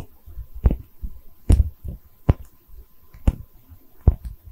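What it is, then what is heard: Porcelain liquor bottle. A small, cream-colored, hollow porcelain liquor bottle with embossed texture and Chinese characters is held in both hands and tapped and scratched with long red nails. Five sharp, dry taps ring out over quieter, low scratching and rubbing. The taps have a dull, low-pitched body and a brief bright click with almost no ring.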